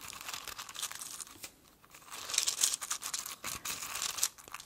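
An open small clear glass jar full of dried cardamom pods is scratched and stirred with fingertips and nails. The result is a dry, bright crackling and rustling of pods shifting against each other and the glass. It comes in uneven bursts with a short quiet dip in the middle, then louder scraping toward the end.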